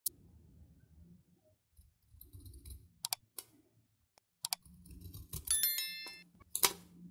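A metal knife blade scrapes and shaves curls off the end of a whole, palm-sized rectangular bar of dry, red-coated Tiffany soap held in one hand, and the shavings fall onto a dark surface. The result is a quiet series of dry, bright, crackly scrapes and sharp clicks that stop short, over a faint low murmur.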